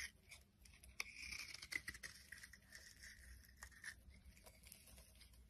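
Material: Soap.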